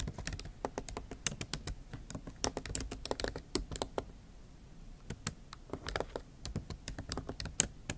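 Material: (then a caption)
Plastic. Long acrylic nail tips type and tap on the backlit keyboard of a MacBook Pro, whose plastic keys sit in an aluminium body. Rapid, bright, dry clicks with almost no ring come in quick bursts, with a short lull around the middle.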